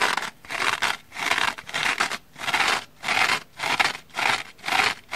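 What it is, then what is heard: Dry scouring sponge scratched. Long manicured nails scratch the black abrasive scouring-pad face of a small dry orange foam kitchen sponge held in one hand, while a second sponge lies untouched nearby. Bright, raspy scratching bursts repeat in a steady back-and-forth rhythm with short silent gaps between strokes, with almost no low end.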